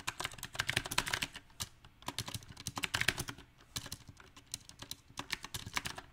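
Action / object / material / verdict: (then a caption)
tap / mechanical keyboard with round plastic keycaps / plastic / none. Fingertips type on a backlit compact mechanical keyboard with round, typewriter-style plastic keycaps on a silver metal frame. Bright, sharp, clacky keystrokes come in uneven bursts, with short lulls around two and four seconds. Each click decays almost instantly.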